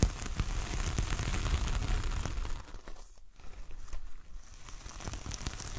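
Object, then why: Coir fibre door mat. Long nails drag and scratch over the bristly fibres of a large, flat, solid coconut coir door mat with a star print. The result is a dense, crackly, crinkling rasp with a low rumble underneath. It is loudest in the first half, dips into a brief near-silent lull around three seconds, then returns as quieter scratching.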